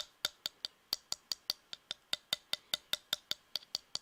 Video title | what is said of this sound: ASMR My favourite Knife Aztec Replica, Plastic sounds, metal sounds | As you can hear, it's hollow plastic